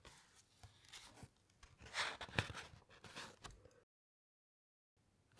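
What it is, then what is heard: Thick paper encyclopaedia pages. Fingertips and nails rub across the thick matte paper pages of an open large encyclopaedia and turn to the next spread, giving soft, bright rustling and scraping with one sharper papery crackle near the middle. The sound then cuts to complete silence for about a second before faint rustle returns at the end.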